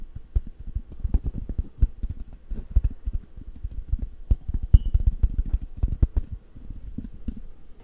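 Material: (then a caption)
Metal mesh. Fingertips rub and scratch the hollow metal mesh grille of a large black condenser microphone held in one hand, with thumping touches. Rapid, uneven, dull low thumps and muffled scraping fill the clip, each dying away almost instantly, with a brief faint squeak just before the five-second mark.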